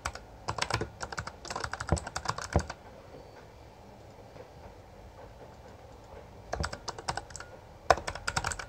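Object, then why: Plastic mechanical keyboard keys. Both hands tap with their fingertips on the plastic keycaps of a full-size backlit Bloody B820R mechanical keyboard. Rapid, bright clicky keystrokes come in a burst for nearly three seconds, then near-silence, then two shorter bursts of typing near the end.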